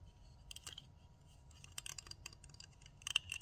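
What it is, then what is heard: Plastic nail tip cutter. Long nails tap and scratch on the plastic handles of a pink plastic nail tip cutter with a metal blade. The result is a quiet, rapid series of bright, dry clicks and scratchy ticks that die away instantly, with a few louder taps near the end over a faint low hiss.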